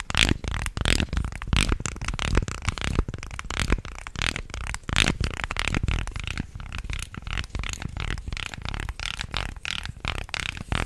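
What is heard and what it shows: A small segmented wooden fish fidget toy of solid light wood with many slatted joints is bent and wiggled by the fingers. Its segments rattle and clack in a fast, dense stream of short, dry clicks with a heavy low thump beneath them and bright crackling edges. Each click dies away almost instantly.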